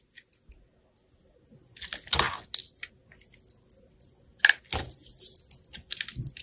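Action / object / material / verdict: scrape / glitter-coated soap bar / soap / none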